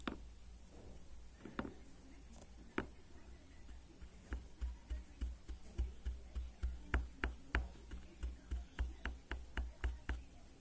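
A black plastic hairbrush with a silver band lies on a table while fingernails flick its ball-tipped plastic pins, then a flat palm rubs and brushes across the pin tips. A few scattered sharp flicks and clicks give way to a steady, fairly regular run of soft, low thumps, each with a quick bright click, about 19 hits in all. Each hit dies away almost at once.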